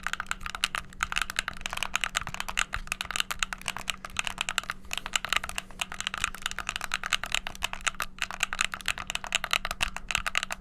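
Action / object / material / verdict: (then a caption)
tap / plastic game controller / plastic / none. A white, hollow plastic gamepad has its buttons clicked rapidly with fingertips. The result is a dense, continuous stream of sharp, bright plastic clicks with almost no ring, over a faint steady low hum.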